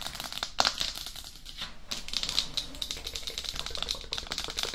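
Long acrylic blue-tipped nails tap quickly on the top and face of a hollow, life-size, matte black hard plastic dummy head (a binaural microphone shell), away from its silicone ears. The result is a rapid, dense stream of short, bright, dry clicks with almost no ring, easing off briefly near the middle before picking back up.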